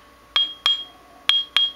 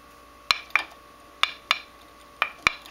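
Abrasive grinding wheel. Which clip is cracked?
The second.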